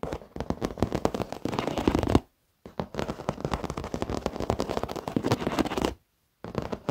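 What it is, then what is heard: Leather office chair. Fingertips and short nails tap rapidly on the edge of a black padded leather office chair, then knuckles tap close by. The sound is a dense stream of dull, crackly taps, mostly in the lows and mids with little brightness. Two brief silences break it up.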